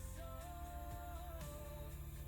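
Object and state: Nothing is struck.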